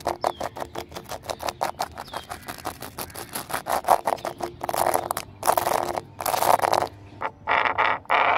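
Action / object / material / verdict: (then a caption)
tap / exposed-aggregate pebble pavement / stone, concrete / none. Fingernails tap and scratch across a flat exposed-aggregate pavement of small pebbles set in concrete. A fast, steady run of dry clicking taps speeds up and blurs into longer, bright, rasping scratches in the second half of the clip.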